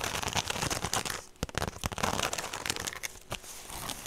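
A woven straw handbag held up close is scratched and tapped with long nails, making a dense, bright crinkling and crackling rasp across the weave. A few sharper, distinct taps stand out from the steady scratching.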